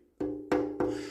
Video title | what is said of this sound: 1968 Honda PS50 Rusty Petrol Tank Restoration With Vinegar Part 1 | it's making the right sound. It's got a ring.